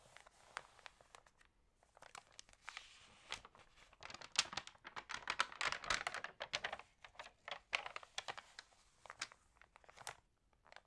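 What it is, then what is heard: Glossy magazine pages. Fingernails scratch and fingers turn the glossy paper pages of a Libelle magazine, making a dense run of quiet, bright crinkles, crisp rustles and short tearing-like swishes. Each sharp crackle dies away almost at once, with almost no low end, and the sound grows busier in the middle before thinning out again.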